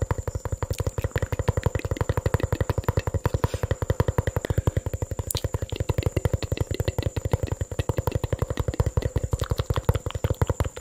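A small, hollow, mostly empty clear plastic bottle with a red cap and pink label is held in one hand and tapped and scratched with fingertips and nails. The result is a fast, steady stream of short, dull, low-pitched taps that stop almost instantly. A faint scratchy texture and a thin, constant high tone sit underneath.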